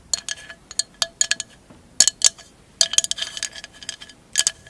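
A hollow, empty glass mosaic candle holder lies on fur while long acrylic nails tap and scratch its clear glass bottom and mosaic edge. About sixteen quick, bright clinks come in uneven clusters, each with a short glassy ring. Faint scratchy rustles sit between them, with almost no low end.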